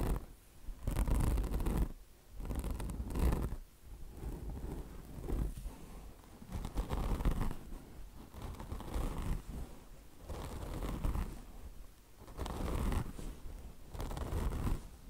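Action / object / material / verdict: scrape / mesh-covered microfiber car wash sponge / mesh, microfiber / none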